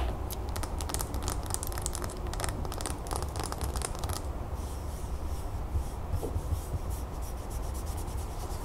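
Fingernails tap and scratch the sides of a large solid pillar candle, likely wax, with a gold crackle-textured surface, standing on a gold stand. Quick, bright clicking taps and dry scratching fill the first half, then give way to softer, steadier rubbing over a constant low hum.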